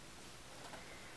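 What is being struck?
Nothing is struck.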